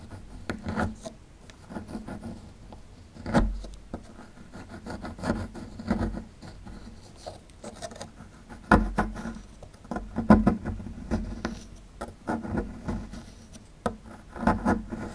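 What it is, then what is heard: Plaster block scraped with a pick. A small solid plaster block held in the hand has its edge scraped with a metal pick tool, giving dry, gritty scratching and rubbing strokes in irregular bursts. The scrapes are short and quick, with a steady low tone underneath and a few louder, sharper strokes spread through the clip.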